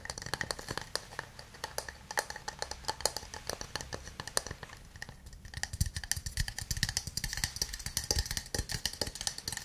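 A small, hollow wooden cup with light, visible grain, probably empty, is held in both hands and tapped on its sides, first with fingernails and then with fingertips. Rapid, dry clicks and taps run throughout with almost no ring. The taps are crisp and bright at first, then soften with more low thump in the second half.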